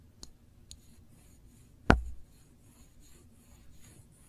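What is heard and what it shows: Long nails slowly trace and scratch over the label and glass of a small glass jar full of cranberry jam held in one hand. Quiet, soft scratching runs throughout, broken by three distinct taps: two faint clicks early on and one louder, sharp tap near the middle with a brief low thump.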